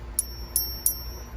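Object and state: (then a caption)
Ringing 40% silver half dollar. A 40% silver half dollar from 1965–1970 is tapped three times with another coin in a ping test. Each tap gives a bright, high metallic ping that keeps ringing after the strike, over a low background hum. The sustained ring marks the coin as silver rather than clad, which would give only a short dull dud.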